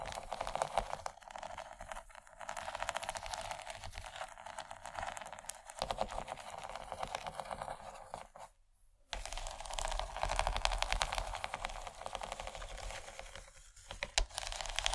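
Long nails scratch and tap across the raised corn-shaped bumps of a large, empty yellow textured plastic tray. The result is a fast, uneven stream of dry, crinkly clicks and scrapes that pauses briefly near the middle before resuming.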